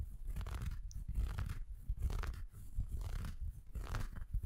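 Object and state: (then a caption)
Felt stocking being scratched. An empty red felt Christmas stocking with a plush white top is held in both hands while fingers rub and scratch the felt. The result is soft, dull, crunchy scratching in repeated short strokes, mostly low-pitched and muffled with little high-end brightness.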